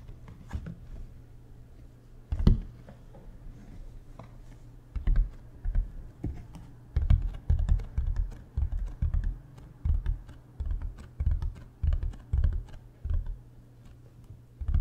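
Fingertips tap on the ridged face of a large, hollow, beige hard-shell plastic suitcase with wheels, held flat toward the mic. Quick bursts of soft, dull, low thuds come in irregular clusters, each dying away almost at once, over a faint steady low hum.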